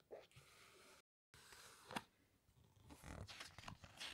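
Fingertips and long nails slide over, squeeze and turn the glossy photo pages of a large open hardcover book made of glossy paper. Soft, bright rustling and sliding fill the clip, broken by a brief silence just after the first second. A sharp crackle of paper follows near the two-second mark, then busier swishing and crinkling as the pages turn.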